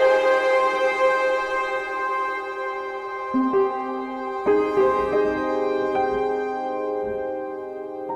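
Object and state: Nothing is struck.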